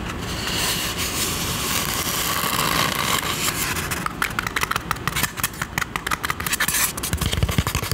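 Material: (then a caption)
Polystyrene foam. Long nails scratch and tap the hollow side of a white styrofoam drinking cup held up in both hands, with a bowl of ice sitting idle in the foreground. For the first four seconds a steady, dry scratching hiss runs on. Then it breaks into a rapid run of short, bright squeaky scrapes and crisp taps that die away almost instantly.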